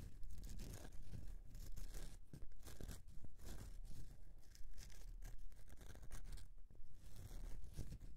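Fingernails scratch and carve into the top surface of a solid bar of soap resting on a mesh mat. Dense, dry scraping and crackling strokes come in quick, uneven bursts with a bright, hissy edge and a soft low rumble underneath.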